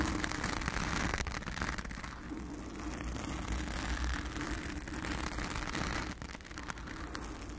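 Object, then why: Foam microphone windscreen. Long acrylic nails scratch a blue foam windscreen on a round studio microphone up close, producing a dense, continuous crackling rasp. A heavy low rumble sits underneath, around 70 Hz, with fizzy brightness on top. The level stays fairly steady, dipping slightly in the middle and again near the end.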